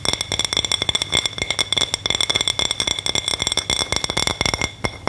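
Long manicured nails tap and scratch the face and rim of a thin, solid, round white plate printed with a Christmas gnome, likely ceramic or possibly melamine, held upright in both hands. The result is a rapid, steady run of short, bright clicks and chinks with a faint glassy ring near 3.5 kHz, each dying away almost instantly, over a soft scratchy hiss.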